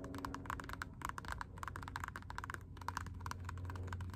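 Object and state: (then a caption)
Rubber slide sandal. Long acrylic nails on both hands tap rapidly on the upright strap of a black Puma rubber slide sandal. The result is a quick, uneven run of short, dry clicks with a hollow tone near 1 kHz, over a steady low hum.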